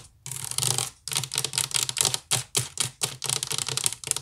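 Long nails scratch quickly along the sides of a hollow woven wicker basket, then tap and scratch its top. The result is a run of dry, bright, crackling scratch bursts separated by brief pauses, with a faint low thump under the taps.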